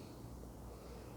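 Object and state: Nothing is struck.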